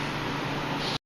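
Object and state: Nothing is struck.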